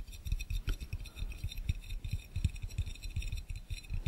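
Both hands' fingertips tap and click fast on the base of an empty, hollow, clear glass fishbowl. The result is a quick, continuous run of soft, dull low thumps, with faint bright clicks riding above them.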